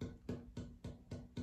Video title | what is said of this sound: comparing tap tones between spruce and cedar and other funky stuff | the spruce is higher pitch